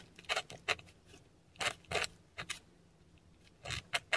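A metal dip pen nib scratches Cyrillic letters in ink across a flat, textured Korean paper sheet. Short, separate, bright, dry scratching strokes come in small clusters with quiet pauses between them, and nothing rings on after each stroke.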